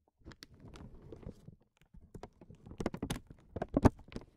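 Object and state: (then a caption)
Acrylic bead. A single small, round, solid, iridescent clear acrylic plastic bead resting on a felt mat is tapped and nudged with short fingernails and fingertips. The result is a series of soft, dull, quickly damped taps and light scuffs, with a few brighter clicks. A brief pause comes midway, and the taps grow slightly louder and sharper toward the end.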